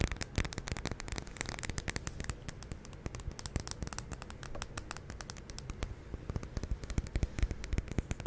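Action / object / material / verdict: tap / wax-filled glass candle jar / glass / none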